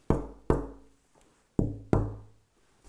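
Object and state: Cocobolo guitar back, full but dull tap tone.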